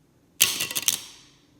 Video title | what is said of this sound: APPLE CREDIT CARD UNBOXING, REVIEW, COMPARISON | it still sounds metal, but not as metallic